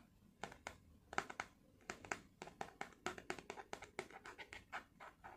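A small flat blister pack with clear plastic bubbles holding white tablets and a foil backing is held in both hands and scratched and tapped with long fingernails. The quiet, uneven run of crisp plastic clicks and scratchy crinkles is bright, with almost no low end, and each tap dies away almost at once.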